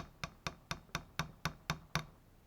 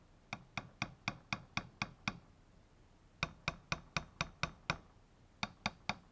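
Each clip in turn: First: solid original power window regulator part. Second: hollow-sounding replacement power window regulator part.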